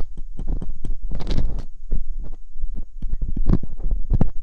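Hooked metal dental picks scrape inside the canals of silicone binaural microphone ears, producing close, muffled, bassy thumps and rubbing scrapes in quick, irregular bursts. A longer, rougher scrape rises in the middle before the short contacts resume.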